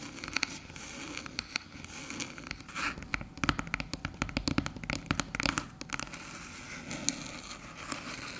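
Long silver nails tap and scratch the top panel of a small, flat, hollow silver aluminium USB hub branded HooToo resting on a dark table. The result is a dense run of crisp, bright clicks and scratchy crackles with very short ring, coming in quicker, louder bursts through the middle before easing back to lighter tapping.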